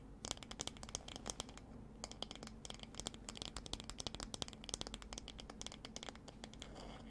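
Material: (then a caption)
Wood. A light wooden paddle hairbrush with a solid wood back is held in one hand and tapped and scratched with the long dark nails of the other hand. The result is a quiet, rapid stream of dry, crisp clicks and scratchy taps with bright highs and no ring, over a faint steady low hum.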